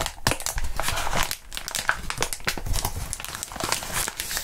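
Gloved fingertips squeeze and crinkle crumpled clear plastic bubble wrap in front of the mics. A dense, continuous crinkling is heard, dotted with quick, bright crackles and sharp snaps over a soft low rustle.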